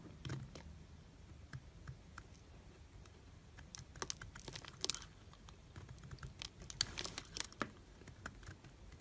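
A metal knife blade carves and scrapes shavings from a solid, palm-sized oval white soap bar with a carved leaf relief, held in the hand. Quiet, crisp scraping and short, dry cutting clicks come in irregular bursts, bright and brittle with very little ring, over a soft low rumble.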